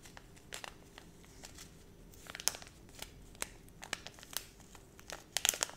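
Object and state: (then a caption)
Plastic foil pouch. A small, flat holographic plastic foil zip pouch with a sticker on it, held in both hands, is crinkled and scratched with long red nails. It produces quiet, bright crinkles and sharp scratchy ticks scattered over a faint steady hiss, with a denser, louder cluster near the end.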